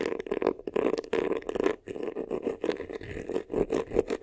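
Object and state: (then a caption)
Faux leather vanity case scratched. Short nails scratch quickly across the textured front and top edge of a hollow, black crocodile-embossed faux leather vanity case. The result is a rapid run of dry, scratchy bursts with a hollow, mid-pitched resonance near 430 Hz and occasional brief pauses.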